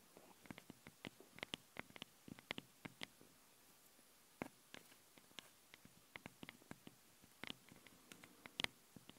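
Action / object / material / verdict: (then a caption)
tap / metal mesh microphone grilles / metal mesh / none. Long blue-painted nails scratch and tap the two small metal mesh capsule grilles of a handheld stereo recorder, working on both sides at once. The result is a quiet, irregular run of sharp, bright clicks and scratches, mostly high-pitched with very little low end. Each one stops dead with no ringing.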